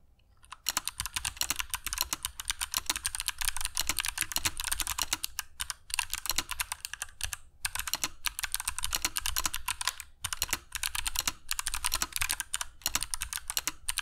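Fingertips of both hands type continuously on a compact mechanical keyboard with grey PBT plastic keycaps and clicky Kailh Box Jade switches, resting on a cork desk mat. Dense, bright, sharp clicks run in quick bursts with short pauses between them.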